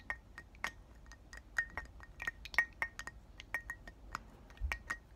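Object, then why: Glass perfume bottle tapped with fingernails. Short black fingernails tap and clink around twenty times on the body and cap of a round, palm-sized pink glass "Thank U Next" perfume bottle, partly filled with liquid, held and tilted in both hands. Each tap is a quick, bright glassy click that rings briefly near 1.9 kHz, heard as a quiet, uneven run of light clinks.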